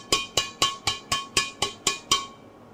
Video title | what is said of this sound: RAKET BADMINTON MIZUNO SPEEDFLEX 9.1 | bunyinya Ting Ting Ting Ting nya enak sekali